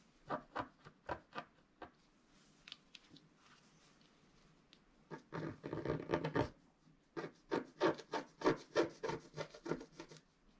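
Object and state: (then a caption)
Scratch-art card being scratched. A pointed wooden stylus scratches across a flat coated scratch-art sheet while the other hand steadies it. Quick, dry scraping strokes come in bursts: a few separate strokes at first, then a quiet stretch with faint scratches. A dense run of rasping follows, ending in a fast series of short, bright scratches.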